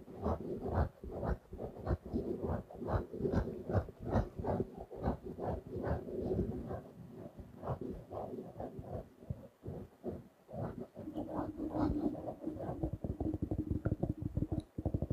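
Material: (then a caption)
Faux leather. Fingertips tap and scratch a small blue-grey stitched faux leather notebook cover. Soft, dull, low thuds come in an uneven, quick rhythm that fades fast. Toward the end they give way to denser, faster scratching.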